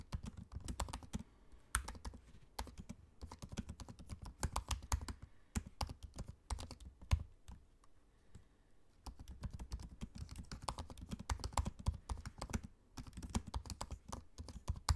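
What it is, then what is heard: Laptop keyboard typing. Fingertips of both hands type on the low-profile black plastic keys of a space-grey aluminium laptop, producing rapid soft clicks and taps with a low, muffled thump under each press. The typing runs in quick bursts, pauses briefly around the middle, then resumes, with a few sharper, louder key strikes standing out.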